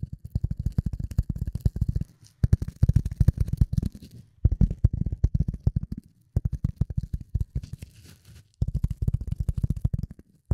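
Fingernails scratch and tap a rectangular, dark grey speckled polyethylene foam block that is solid and light. Rapid, dull, low thuds come in about five dense bursts separated by brief pauses. Each tap is short and dry, with a faint bright scratchy edge.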